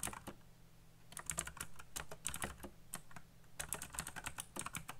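Fingertips type fast on the keycaps of a black plastic, colorful backlit mechanical keyboard. Bursts of sharp, bright clacks come in quick runs with a short lull near the middle, over a steady low hum. Each keystroke dies away almost instantly.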